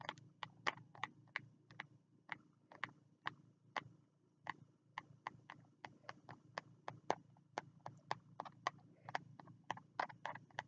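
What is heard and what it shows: Fingertips tap the cover of a small green spiral notebook with a green card cover, held low. About 35 short, dry taps sound in an uneven rhythm, each a quick bright click that dies away at once, over a faint low steady hum.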